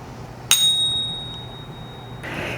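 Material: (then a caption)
Metal. A coin is pinged once with a Pocket Pinger and stack stick tool in a ping test meant to tell a precious metal coin from a common metal counterfeit. It gives a sharp strike followed by a clear, high, tuning-fork-like ring near 3.8 kHz that fades slowly over about two seconds. A soft, broad hiss enters near the end.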